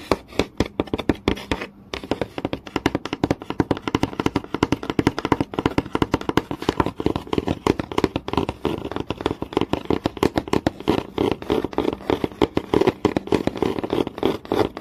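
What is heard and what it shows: Fingertips and nails tap fast and scratch on a flat, solid wooden board with visible grain, seen in close-up. Dense, rapid, dry clicks with very short decay and a warm midrange body carry on throughout, with a brief pause near the two-second mark and scratchy rasps mixed between the taps.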